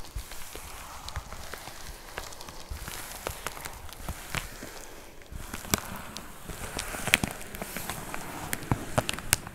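Long nails tap and scratch a white plastic poly mailer with a box inside, close up. A steady, soft crinkling scrape runs throughout, dotted with sharp, bright plastic ticks that grow a little louder and more frequent in the second half.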